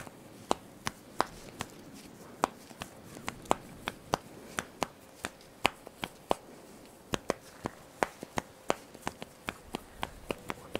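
Fingertips and nails pull and rub the black elastic straps of a top close to the microphones. About thirty sharp, dry snaps and scratches ring out unevenly over a soft fabric hiss, each one bright and gone almost instantly.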